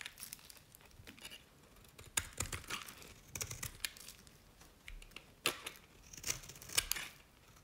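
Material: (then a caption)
Soap. A knife blade scrapes across the face of a green, dry, solid Nevskaya Cosmetics bar soap, and flakes fall away. The result is a run of dry, crisp scraping and crackling strokes, bright and papery with little low end, broken by a few sharper snapping peaks between quieter passes.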